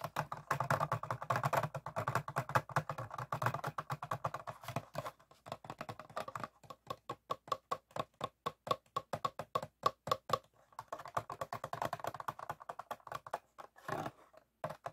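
Fingertips and nails tap and squeeze the hollow ribbed sides of an empty clear ribbed PET water bottle with a blue cap, held in both hands while lying on a wooden table. The result is rapid, dry, hollow plastic clicks and taps around 1.1 kHz: dense flurries at the start and again near the end, with a sparser, more evenly spaced run of crisp taps in the middle. A brief crinkling squeeze comes just before the close.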